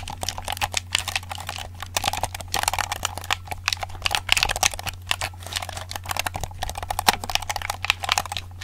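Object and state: Plastic game controller.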